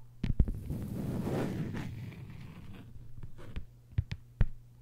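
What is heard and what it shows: Long white nails tap and scratch a thin, flat green plastic cutting board with a hanging hole. A couple of sharp, dull taps open into a soft, low, rasping scrape that swells and fades, followed by a few more crisp clicks near the end.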